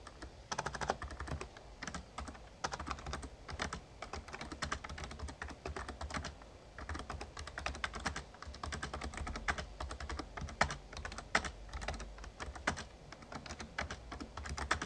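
A full-size backlit plastic Razer Ornata Chroma mecha-membrane gaming keyboard is typed on steadily by fingertips, producing a continuous stream of short, crisp key clicks and taps. The keystrokes are dense and uneven in loudness, with occasional sharper presses, over a steady low hum.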